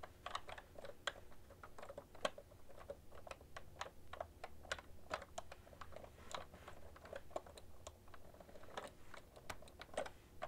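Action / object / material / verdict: tap / plastic computer keyboard / plastic / none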